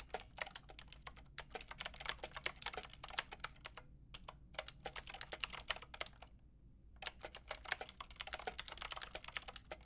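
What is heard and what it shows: Long painted nails and fingertips type on a white-pink backlit mechanical keyboard with round plastic keycaps. The result is bursts of bright, crisp plastic clicks and taps that die away instantly, with brief pauses near 4 seconds and between about 6 and 7 seconds.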